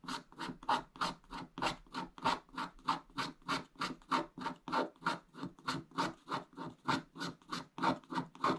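A wooden stick scratches away the remaining black wax coating along the top of a flat scratch-art paper page, exposing the blue foil underneath. About 27 quiet, dry scratching strokes come in a steady back-and-forth rhythm, each a short rasp centred near 900 Hz with a bright, hissy top. The strokes stop quickly, with almost no ring after each one.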